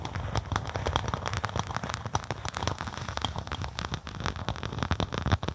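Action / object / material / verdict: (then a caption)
scrape / synthetic leather sheet / synthetic leather / none. Long acrylic nails scratch and tap a flat black-and-white faux snakeskin synthetic leather sheet laid over a microphone. The result is a dense, steady stream of quick crackling taps and scratchy rasps, with a deep, bassy thump under sharp, short clicks.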